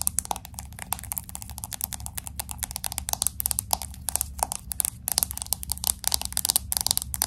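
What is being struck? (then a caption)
Smartphone with glass back and aluminum frame. Long acrylic nails tap quickly on the glass back of a pink smartphone with an aluminum frame. A rapid, irregular stream of sharp, bright clicks plays over a steady low hum.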